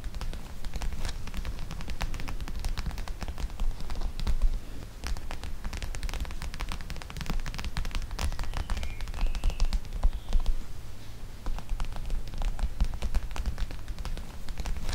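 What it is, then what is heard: Plastic gel bead pack. A flat, clear plastic pouch of teal gel beads resting on a microphone is scratched with long nails for about fifteen seconds. It makes a continuous, dense crackling and rustling, with sharp scratchy ticks over a heavy, boomy low thump from the pouch pressing on the microphone. The level stays steady throughout.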